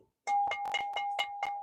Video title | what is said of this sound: Осенние ярмарки 2024 Минск ЦЕНЫ на продукты - Minsk Autumn Fairs 2024 Product Price Secrets REVEALED | ça sonne comme une cloche. - C'est de la porcelaine ? Non, c'est de l'argile !